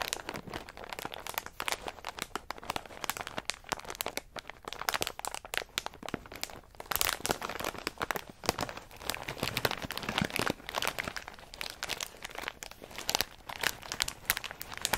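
Fingertips scratch and press a medium plastic snack bag full of in-shell pistachios resting on a mat, then a hand picks it up and squeezes it. The result is a steady stream of bright, crisp crinkling and crunching with dense, sharp crackles and little low end, swelling louder as the bag is lifted and squeezed.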